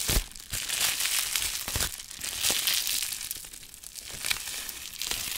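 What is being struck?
Plastic bubble wrap.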